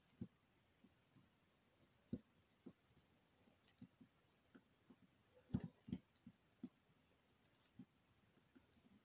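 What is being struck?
Bar of soap.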